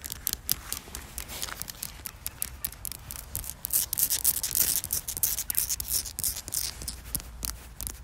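Long black almond-shaped fingernails tap and scratch a coarse, solid outdoor concrete surface with embedded pebbles. The result is a steady run of quick, dry, bright clicks and gritty scrapes, with a faint low rumble underneath.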